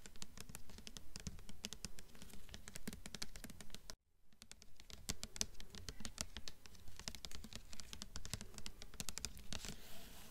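Long nails tap quickly on the glossy front cover of a blue hardcover book with a glossy paper dust jacket. Rapid, sharp, bright clicks run over a low rumble, pausing briefly at about four seconds before resuming.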